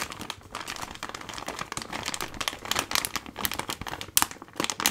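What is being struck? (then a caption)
Plastic foil laminate pouch. A medium-size Gold Kili ginger drink package, a flexible plastic and foil laminate pouch that appears full of sachets, is held in one hand and squeezed and crinkled with the fingers. It gives a steady stream of dense, bright crackling and crinkling with sharp, crisp snaps that die away instantly and almost no low end.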